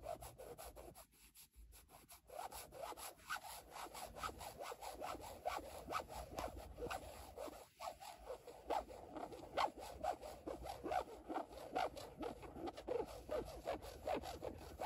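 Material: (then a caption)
Carbon fiber. Long nails scratch slowly across a black carbon-fiber weave panel with a shield logo, making a dry, rasping rub. Short scraping strokes repeat steadily, with brief pauses near the start and around eight seconds, then continue more loudly.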